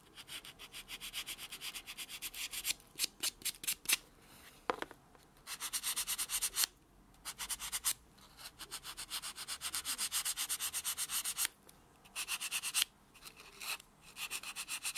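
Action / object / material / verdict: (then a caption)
scrape / natural fingernail rubbed with a foam buffer block / keratin / none. A white solid foam buffer block is rubbed back and forth against natural fingernails, including the thumbnail. Quick, bright, scratchy strokes come in rhythmic bursts separated by short pauses, with a soft, airy texture and almost no low end.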